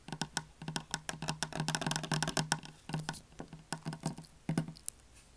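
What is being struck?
Soap bar.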